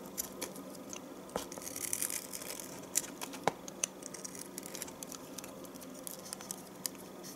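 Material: Soap.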